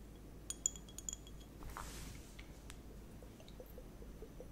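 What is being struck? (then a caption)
Sealed plastic liquid timer with beads. A sealed, transparent plastic liquid hourglass timer filled with purple liquid and water beads is held up close with long nails and turned or shaken. Six bright, short clinks ring out as the beads knock inside, followed by a soft liquid swish and faint scattered ticks over a low background hum.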